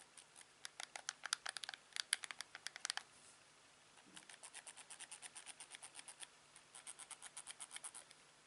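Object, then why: Plastic TV remote control. A thumb presses the buttons and scroll wheel of a hand-sized, hollow, black plastic LG TV remote, making quick, bright, dry clicks with almost no ring. A louder, uneven burst of clicks in the first three seconds gives way, after a short gap, to a softer, steadier run of clicks with a brief pause partway through.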